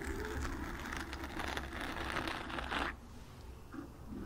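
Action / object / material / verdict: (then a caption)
scrape / foam microphone windscreen / foam / none. Long nails scratch the sides and front of a black foam microphone windscreen, making a dense, continuous rustling scrape over a steady low hum. The scratching stops abruptly near the three-second mark, leaving a quieter stretch with a few faint, brief scrapes.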